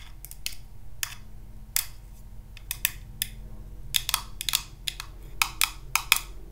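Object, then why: Small acrylic plastic cube box. A small, hollow, translucent orange acrylic or plastic cube box is held in the hands and tapped and scratched with paper clip nails. The result is a string of sharp, bright, dry clicks that die away almost instantly, with light scratchy sounds between them over a faint, steady low hum.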